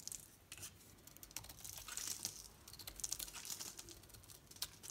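A metal knife blade shaves and carves curls off a hand-sized solid bar of green soap with an orange painted coating, held in the palm. Quiet, bright, crisp scraping and crackling ticks come in a dense, uneven run, each stopping almost instantly with no ring, with very little low end.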